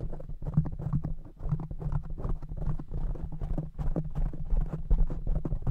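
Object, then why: Foam microphone windscreen. Fingertips of both hands rapidly tap the soft black foam cover on a large silver microphone. The result is a fast, uneven patter of soft, muffled thumps that are deep and boomy, with almost no high end and no ring after each tap.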